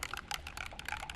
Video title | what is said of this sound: Concrete Crack Repair using our Spall FX and TX products | you can hear the ball bearing inside